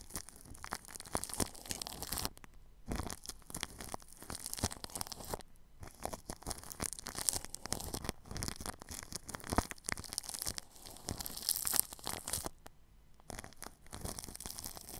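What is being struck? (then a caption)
Plastic cling film over a microphone, brushed with a paintbrush. The bristle tip of a red-handled paintbrush brushes and scratches crinkled clear plastic cling film wrapped over a microphone, under its grille. A steady run of bright, crackly scratching and rustling fills the clip, broken by a few brief pauses.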